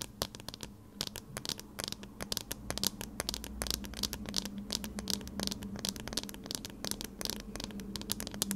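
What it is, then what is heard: Metal-frame eyeglasses. Thin metal wire-frame eyeglasses with lenses are held in both hands in front of a recorder and tapped and scratched with fingertips and nails. A rapid, dense stream of sharp, bright clicks and scratchy taps plays over a steady low hum throughout.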